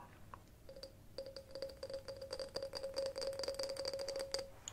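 A glass object is tapped repeatedly in quick, uneven succession. Each tap gives a short, bright clink with a steady ringing tone near 540 Hz and a faint higher overtone, and the taps grow denser and slightly louder toward the end.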